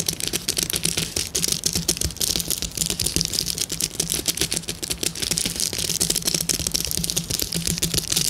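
Long nails of both hands scratch and tap across a flat sheet of clear plastic bubble wrap with hollow air bubbles. The result is a dense, continuous stream of quick, bright, crinkly clicks and scratches with very short decay, over a faint steady low hum.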